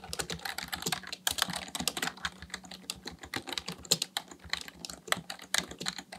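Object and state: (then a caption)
Plastic membrane keyboard being typed on. A black plastic full-size Dell KB1421 membrane keyboard with a hollow housing, resting on a desk, is typed on continuously with the fingertips of both hands. Rapid, bright clicks and taps come in quick, uneven bursts, each key press dying away almost instantly with little low-end weight.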